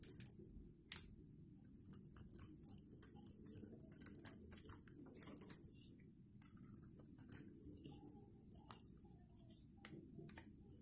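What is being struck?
Bar of soap scraped with a metal blade.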